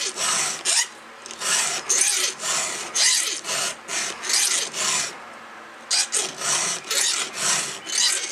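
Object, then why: Steel chainsaw chain teeth and round file. A gloved hand pushes a round steel file with a red holder across the small, solid steel cutter teeth of a chainsaw chain. It makes repeated bright, high rasping scrapes in quick, uneven strokes, with a short pause partway through before the filing resumes.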